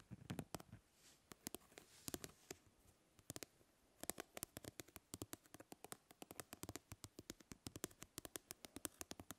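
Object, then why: Plastic mesh fly swatter. A plastic grid-mesh fly swatter is held by its handle while fingernails scratch and pluck across its mesh. The result is dozens of sharp, dry ticks and snaps that die away instantly, mixed with soft, brushy scratching. The plucks come sparsely at first, then turn quick and steady after a short quieter stretch.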